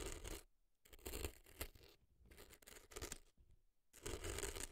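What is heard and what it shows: A thin dark earpick scratches inside the right ear of an orange silicone fake ear mounted on a white block of dry floral foam, digging through the crumbly foam packed into the ear canal. Bursts of dry, crackly scraping come in four clusters with near-silent gaps between them, carrying a low rumble under a bright, gritty texture.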